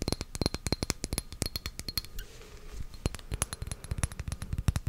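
Long nails tap and scratch a small pink glass perfume bottle, body and cap, held in both hands close to the microphone. Dozens of quick, dry clicks carry faint high glassy rings, with a softer scratchy stretch in the middle before the tapping speeds up again.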